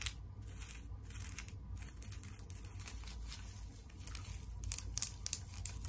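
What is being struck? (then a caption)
Wire-frame teddy bear wrapped in plastic tinsel. Long nails scratch the head and face of a tinsel teddy bear decoration, a wire-frame bear wrapped in plastic tinsel, held beside the microphone. The result is a steady, crinkly rustling scratch over a low background hum, with sharper crackling bursts growing louder toward the end.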